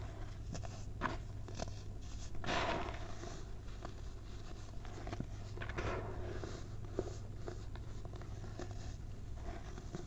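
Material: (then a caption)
Baking soda. Hands crush clumps in a white mound of baking soda powder and let it sift through the fingers, making soft, dry crunches and gritty scrapes over a steady low hum. A fuller crumbling burst comes at about two and a half seconds, with smaller sharp crunches scattered through the rest of the clip.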